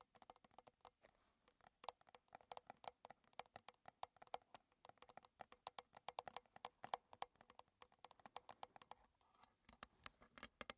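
Long red nails tap quickly on the sides of a small, closed, square metal tin of Twinings Gunpowder green tea with a gold lid, probably partly filled with tea, standing on a table. Dozens of soft, rapid, clicky taps with a light metallic tone near 760 Hz die away almost instantly, some landing louder and brighter than others.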